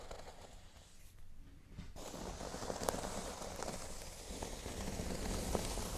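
Fingernails scratch across a flat, thin, solid cork board lying on a table, working toward its top corners. A quiet, dry, continuous rustling scrape briefly thins out, then grows fuller and brighter, with a few sharp crackly ticks over a soft low rumble.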